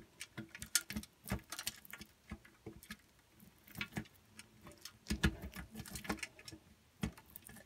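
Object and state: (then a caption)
Bar soap grated on a metal grater. A solid pink bar of soap is grated against the holes of a steel box grater, heard from inside the grater. A quiet, irregular run of short, crisp scraping strokes sounds, each bright and dry with almost no ring. Long soap curls fall away.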